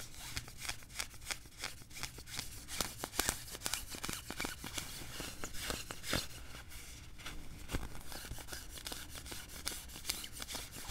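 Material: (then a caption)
Nylon. Fingers pinch, rub and scratch the sleeve cuff of a worn beige quilted nylon puffer jacket. Crisp, bright swishing and crinkling bursts come in quick, irregular succession over a steady low hum.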